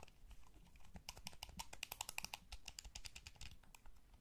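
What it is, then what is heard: Plastic game controller. A small, hollow, blue wired plastic gamepad is held in both hands while thumbs and fingertips press its buttons and tap its shell. The result is a quiet, irregular stream of sharp, bright plastic clicks peaking around 2.8 kHz, with dull low thumps underneath. Each click dies away almost instantly.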